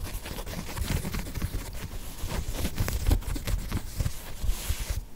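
A hollow, empty green and grey knit textile sneaker is turned in the hands and scratched and tapped with long nails close to the mic. Soft, dull thumps and brushy fabric scratching blend into a steady, low-heavy rustle, and the sound cuts off at the end.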